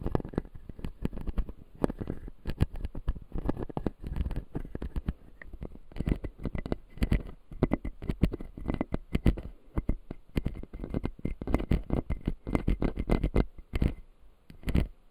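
Fingernails tap and scratch the white resin teeth of a clear acrylic full-jaw dental model, making a dense, irregular run of dry clicks and scraping crackles. The sound is mostly low and dull, with short sharp transients that die out almost at once and faint brief tones around 2 kHz. It goes on steadily for the whole clip with a few short pauses.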